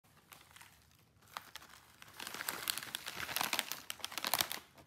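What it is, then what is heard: Plastic foil snack bag being crinkled. A small, sealed, full bag of popcorn chips made of crinkly plastic-foil film is squeezed by bare fingertips and palms, crinkling and rubbing the bag. Sparse crackles at first build into dense, bright, dry crinkling that fades at the end.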